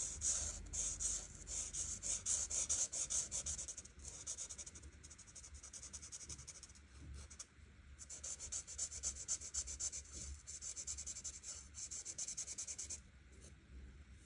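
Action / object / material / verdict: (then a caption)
scrape / felt-tip marker on paper page / paper / none. A broad art marker tip rubs over a flat paper coloring book page in quick back-and-forth coloring strokes, making a bright, scratchy hiss. The strokes soften for a few seconds midway, then pick up again at full strength before easing off near the end.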